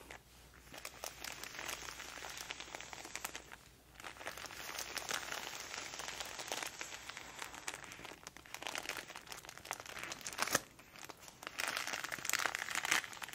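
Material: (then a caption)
Paper. Long nails and fingertips tap, scratch and rub the wrapping of a flat, unopened parcel wrapped in printed purple paper with a sticker. The result is a dense, bright crinkling and scratching with quick crackly ticks, pausing briefly around 4 and 10.5 seconds before resuming.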